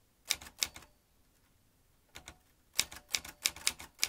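Fingertips press the round keys of a vintage metal manual typewriter, swinging its typebars as it types. About 14 sharp, bright, dry clacks come in quick bursts with a quiet pause in the middle, each snapping off almost instantly with almost no low end.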